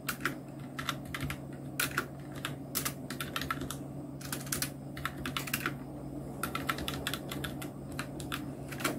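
Fingertips of both hands type on a full-size black Nubwo Illusion NK-70 mechanical keyboard with Outemu red switches, round plastic typewriter-style keycaps and blue backlight. Quick, uneven bursts of bright plastic key clicks come in clusters and pauses, each dying away almost at once. A steady low hum sits underneath.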